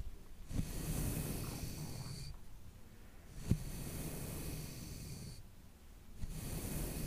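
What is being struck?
Nothing is struck.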